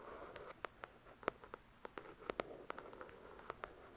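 Long nails tap and scratch on a copy of "The Shack," a paperback with a paper cover lying flat. About 17 short, dry, quiet taps land at an uneven pace, each with a hollow midrange knock and no ring. Soft papery scratching fills the gaps between them.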